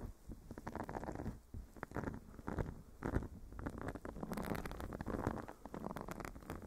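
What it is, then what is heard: Silicone face scrubber scratched. A small, flat, blue silicone face scrubber pad with bristles is held against a furry microphone windscreen and scratched with fingernails from both hands. The result is a muffled, low, dense scratching and rustling that comes in uneven bursts and brief pauses, with a little brighter crackle in the second half.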